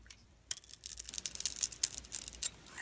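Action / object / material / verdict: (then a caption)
scrape / bar of soap scraped with a knife blade / soap / none. A utility knife blade carves and scrapes shavings off a solid blue glittery Radox soap bar with a white core, held in the hand. After a brief quiet start, a rapid series of short, crisp, bright scraping strokes follows, with almost no low end and no ring after each stroke.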